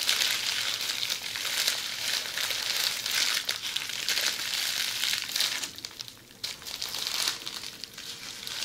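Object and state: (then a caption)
Plastic bubble wrap being scratched and squeezed. A roll of red plastic bubble wrap is held in both hands while long pointed red nails scratch and squeeze it. The result is a steady, bright crinkling and crackling with rapid irregular clicks. It fades briefly near the six-second mark before the crackling returns.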